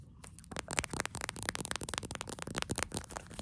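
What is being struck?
Small soft plastic squeeze tube.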